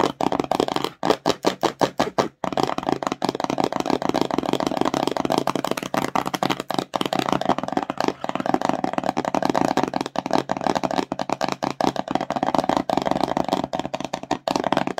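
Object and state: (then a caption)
Empty cardboard box. Long nails rapidly tap and scratch the front face of a small, empty, hollow glossy cardboard slime box. The result is a steady stream of quick, dry, hollow clicks with scratchy texture, centered in the mids with little low or bright content.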